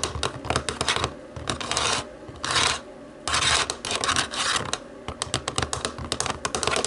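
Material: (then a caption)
Plastic. Long nails tap quickly on the rubber buttons of a small, hollow black plastic TV remote, making bright, crisp clicks. Between runs of tapping come several longer rasping scratch sounds across the remote.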